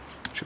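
The plastic folding hinge of a pair of Noontec Zoro II headphones is folded, giving two sharp, short clacks of plastic against plastic despite a small metal structure inside. The hinge clacks and creaks audibly, raising doubts about how long it will last.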